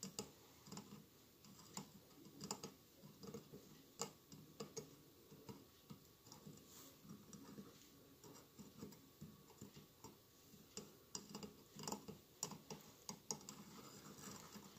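Fingertips and nails tap quickly on both sides of a hollow glass mosaic votive candle holder with a lit candle inside. The result is a quiet, steady patter of light, bright clicks and ticks, each dying away almost instantly with no lingering ring, over a soft low background.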